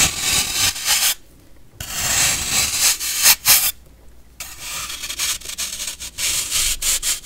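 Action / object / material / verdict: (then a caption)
scrape / pressed baking soda block scraped with a metal blade / baking soda / none. A metal knife blade scrapes and shaves the flat face of a solid, hand-sized block of compressed baking soda held in the fingers, working in long strokes. The result is a bright, gritty, hissing rasp that comes in stretches, broken by two short silent gaps, and ends in a run of quick, crisp scraping ticks.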